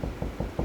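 Four quick knocks on drywall directly over a wood stud give short, dull, low thuds with little ring. The spot sounds solid and a bit higher-pitched than the hollow wall between studs.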